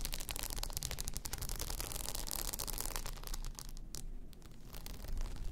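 Long nails scratch and rub across a blue rhinestone-covered tumbler lying on its side, making a dense, bright crackling scrape over a low rumble. The scratching grows quieter for about a second near the end, then picks back up louder.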